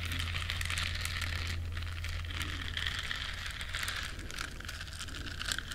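Long nails scratch across the bristles of a small, flat, solid yellow silicone duck-shaped scrubber. The result is a continuous, dense, bright crackling scratch with rapid, uneven rustling textures over a steady low hum. The level stays fairly even throughout.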